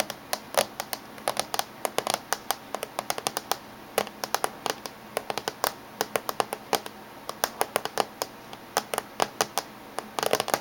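Fingernails of both hands tap rapidly on the top surface of a closed silver laptop casing. The result is a quick, irregular stream of sharp, dry clicks with bright, hard attacks and almost no ring or low end over a faint steady hiss, growing into a denser flurry at the very end.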